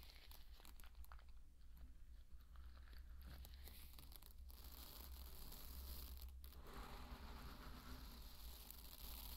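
Fingertips dig, rake and scratch through a deep bed of dry pearl barley, giving a dense, continuous crunchy rustle with crisp, bright grain clicks. The sound is quiet over a steady low hum.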